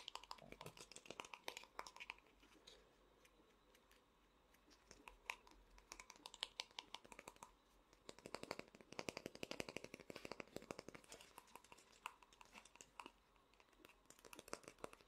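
Fingertips and nails tap and scratch the large head of a small, hollow vinyl Funko Pop figure. The taps come in fast, dense bursts of dry, bright clicks centred around 3.2 kHz, mixed with softer scratching. There is a quieter lull near the 4-second mark and again around 13 seconds.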